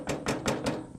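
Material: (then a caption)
Zinc. Four taps on a hollow cast zinc grave marker (a "zinker" with a whitish-blue tint, not magnetic) in Spring Grove Cemetery, Delavan, Wisconsin. Each tap gives a short metallic knock with a hollow ring centered around 430 Hz, showing the monument is metal and hollow inside.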